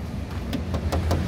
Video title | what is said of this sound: Kijang Super G 1.5 short 1995 - kijang kf40 original look | Ini masih logam padat. Masih bagus.